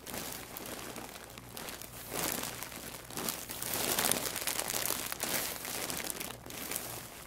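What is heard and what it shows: A large white plastic poly mailer bag, full and stuffed with packaged items, rests on a wooden table while fingertips press, rub and scratch it. The plastic gives a continuous bright, dense crinkling and crackling, swelling in waves of louder rustling throughout.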